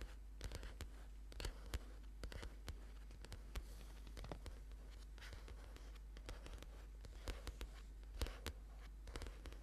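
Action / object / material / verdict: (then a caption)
scrape / paperback book with card cover / paper / none. A thick paperback book with a card cover, a solid paper block lying flat on a purple mat, is tapped and scratched quickly by the fingertips and short nails of both hands. Short, dry taps and brief scratches sound at an uneven pace over a low, steady hum.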